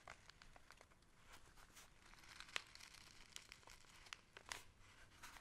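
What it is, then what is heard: Paper gift bag being crinkled. A small, hollow kraft-paper gift bag with string handles and a printed label is held in both hands while fingertips and nails scratch and rub its surface. The result is quiet, irregular, bright crinkling and scratchy rustling, broken by a few sharper crackles.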